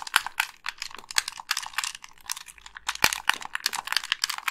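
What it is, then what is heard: Plastic game controller. Long pink nails click the colored buttons and tap the shell of a white, hollow plastic wired game controller. The result is a rapid, uneven run of sharp, dry, bright clicks and taps with almost no low end. Each tap stops instantly, with no ring.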